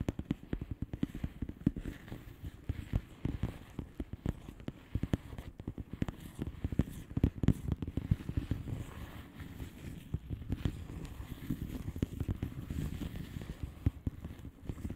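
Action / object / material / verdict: tap / plastic bubble wrap envelope / plastic / none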